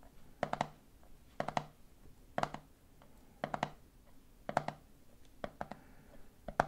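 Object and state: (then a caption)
Plastic peanut jar lid tapped. Fingertips tap the red plastic lid of a medium clear plastic jar full of peanuts. Quick, dry, hollow clicks come in short rhythmic bursts of about three taps each, each dying away almost at once, with quiet pauses between bursts.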